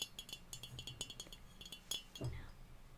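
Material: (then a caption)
Stainless steel. A small, hollow stainless steel cocktail shaker with its cap on is held in the hands, tapped with fingertips and nails, and handled at the lid. A quick, uneven run of light taps gives bright, high metallic clinks that die away almost at once over a soft low thud. Near the end, a duller knock and a brief rising scrape come from the lid.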